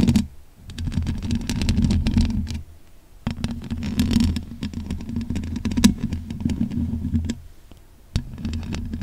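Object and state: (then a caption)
Metal mesh microphone grille. Long pink acrylic nails scratch quickly over the top and sides of the bare, black, hollow metal mesh grille on a large condenser microphone. The result is dense, rapid rasping, heavy in low rumble with a steady hum-like tone around 200 Hz. It comes in three sustained bursts separated by two short pauses.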